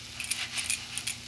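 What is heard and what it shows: Pumpkin fritters (bora), shallow-fried on low heat and done, give four short, bright crackling crunches with sharp high-frequency clicks and little low end. The fritters sound fully crisp and cooked through.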